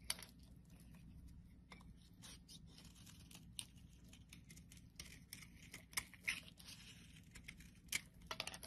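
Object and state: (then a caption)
Bar soap being carved. A solid pale pink bar of soap is held in the hand while a metal blade scrapes and carves shavings from it. Bright, crisp scraping and crackling strokes come in short bursts with sharp little clicks over a faint low hum.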